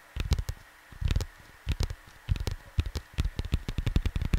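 Fingertips tap softly on a flat cardboard LP record sleeve, producing dull, low thumps in quick clusters separated by short pauses. Each tap is short with almost no ring, and a faint steady hum sits underneath.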